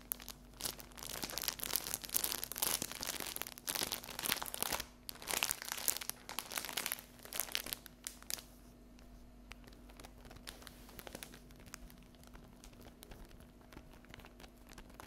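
Long acrylic fingernails scratch and tap the top and edges of a cellophane-wrapped stack of paper napkins lying flat on a table. The first eight seconds are dense, bright crinkling and scratching with quick taps. After that it drops to sparser, quieter ticks over a steady low hum.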